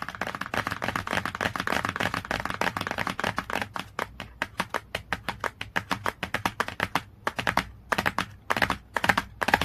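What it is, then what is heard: Glossy hardcover book cover. Long nails, held in a clawed shape, tap rapidly on the glossy cover of a cardboard hardcover book. The result is a fast stream of dry, clicky ticks with very short decay and a bright, crisp edge. The taps are dense at first, then become more separated, with brief pauses toward the end.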